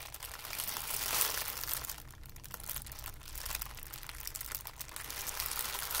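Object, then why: Ball of thin tissue paper. A loose ball of thin white tissue paper is squeezed and crumpled in cupped hands. It makes a dense, bright crinkling and crackling rustle that swells to its loudest just past the first second. The crinkling then continues as a steady, softer crackle to the end.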